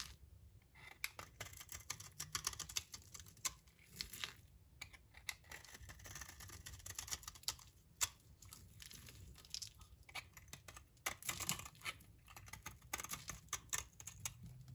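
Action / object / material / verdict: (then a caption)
scrape / bar of soap scraped with a blade / soap / none. A blade scrapes flaky curls off a solid rectangular yellow bar of dry soap held in the hand. Quiet, dry, crackly scraping strokes come in quick bursts, bright and papery with little low end, each tiny crunch stopping almost at once.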